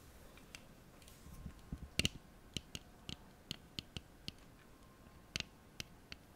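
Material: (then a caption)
Plastic. Long nails tap the frame and lenses of a small pair of black plastic-framed eyeglasses held up in the hands, and open and close the folding arms. The result is a series of short, sharp, bright clicks, centered around 2.8 kHz, that die away almost instantly over a quiet background.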